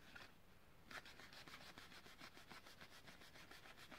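Fingernails rub and scratch a long, hollow blister pack for a blue utility lighter, its clear plastic shell on a yellow card held in both hands. A soft, steady scratching starts after a brief quiet spell and runs in quick, regular bright strokes with a crinkly plastic edge and a faint low rumble underneath.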